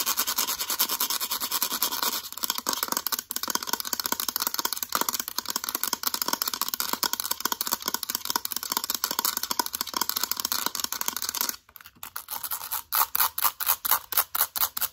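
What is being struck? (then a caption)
Plastic calculator. A mint-green plastic calculator is tapped and scratched with long acrylic nails, first on its back and then on its front keypad. Fast, dense, bright clicking and scratching runs continuously, with a brief near-silent gap just before 12 seconds. It ends in sharper, separated taps.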